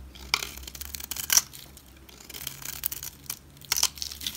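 A solid olive green bar of soap is held in the hand while a utility knife blade shaves long strips off its edge. The result is a series of dry, bright scraping and crackling bursts with sharp, short peaks over a faint low hum.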